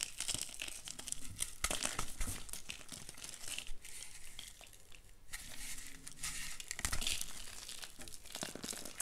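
Fingertips and short nails press into the top and sides of a large solid block of reformed white gym chalk (magnesium carbonate) topped with pink glitter, resting on a dark surface, crumbling it apart. A dense run of dry, crunchy crackles and gritty crumbling fills the clip, with louder bursts of breaking near the start and again about two-thirds through, and a softer patch in between.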